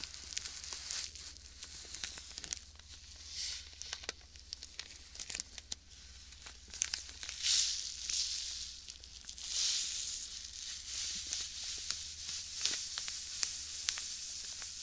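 A small clear plastic bag filled with white sand is squeezed and rubbed with fingertips close to the mic. The result is a steady, bright crinkling and gritty rustle, punctuated by many sharp crackles and occasional louder swells of shifting sand. There is almost no low end.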